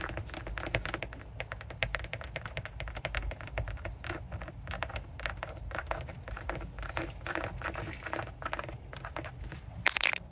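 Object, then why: Rubber car tire sidewall. Long nails fitted with colored metal paperclips tap and scratch along the sidewall of a mounted rubber car tire with embossed lettering (TREADWEAR, TRACTION). It makes a steady run of quick, dry clicks and scrapes that stop dead with no ring, over a low rumble. A louder burst of tapping comes near the end.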